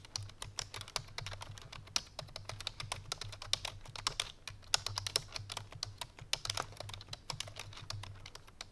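A full-size black plastic computer keyboard resting on a white fur rug is typed on rapidly with the fingertips and painted nails of both hands. The result is a dense, steady stream of short, bright, dry clicks over a faint low hum.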